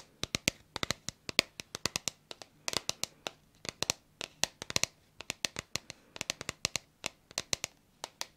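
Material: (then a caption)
Plastic. Long nails tap and scratch the surface of a hollow red plastic bottle with a white cap, held in both hands. Several dozen quick, irregular, bright clicks sound in uneven bursts, each dry and short with no ring, over a faint quiet background.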